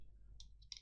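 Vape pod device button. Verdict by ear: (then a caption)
Loose. A loose button on a Smoant Pasito pod mod is moved and flicked, giving short, bright, dry plastic rattling clicks over a low, steady background hum. The button rattles when it should have been stiffer.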